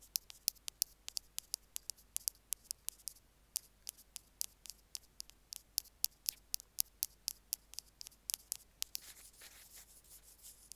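Two bamboo picks scratch and poke at the plus end of a small white plastic Apple earphone mic remote resting on a stone slab. About forty sharp, dry, very bright clicks tick out in an uneven rhythm with almost no ring or low end. A softer, hissy scratching takes over in the last second or so.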